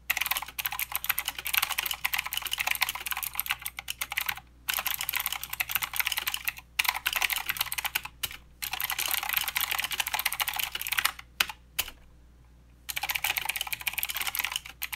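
Both hands type with their fingertips on a mechanical keyboard with plastic keycaps and blue switches, producing rapid, bright, clicky keystrokes with very short decay. The typing runs in dense bursts broken by brief pauses, with the longest silence at about 12 to 13 seconds before the typing resumes.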